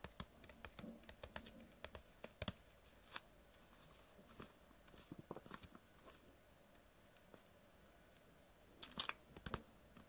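Long nails tap and scratch a clear PET water bottle that holds water and has a blue label. Quiet, sharp, dry clicks and scrapes come in an irregular scatter with no ring, leaving a soft background between them. A denser, brighter cluster of taps comes near the end.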